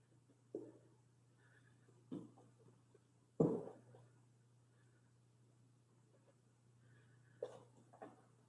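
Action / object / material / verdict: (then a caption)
shake / jar of churned cream / butter / solid. A clear jar of cream is shaken while making butter, and five dull, low knocks sound as a solid lump thuds against the inside of the jar over a faint steady hum. The knocking means the cream has churned into butter, leaving a solid lump of butter and liquid buttermilk in the jar.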